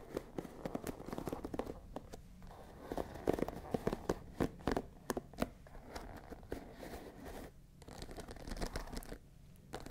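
Long nails scratch across the dense wooden pins of a hand-sized wooden paddle hairbrush with a dark cushion, held close to the mic. The result is a quiet, dry, crackling and crinkling scratch broken by many short, sharp clicks that die away instantly, with the energy sitting mostly in the low and middle range.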